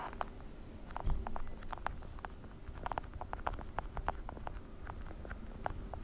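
A small translucent blue plastic weekly pill organizer with hollow compartments is held sideways and tapped and scratched with long painted nails. Quick, light, clicky taps with short scratchy strokes sound over a steady low rumble, with a reverberant tail. A few taps stand out louder than the rest.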